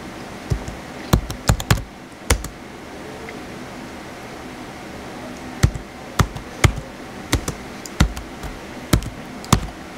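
Fingertips type on the white plastic keys of a small blue plastic HP laptop, producing sharp, dry clicks and taps with a low thud under each press. The keystrokes come in irregular bursts with a quiet pause in the middle, and each one dies away almost instantly.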